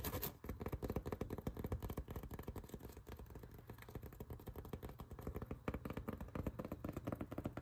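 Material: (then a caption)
Foam. Fingertips and nails tap and scratch along the ribs of a rolled blue ribbed foam yoga mat tied with black straps. The result is a quick, uneven run of soft, dull taps mixed with scratchy rustling that stays low and muffled, with no ring after each touch.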